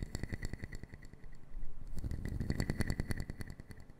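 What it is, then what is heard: Wooden puzzle box. Fingertips and long nails tap and patter fast on a small brown wooden puzzle box made of solid wood pieces, held in both hands. The result is a rapid, uneven stream of short, dull knocks with a low, hollow body and faint bright clicks. The tapping grows denser and louder in the second half.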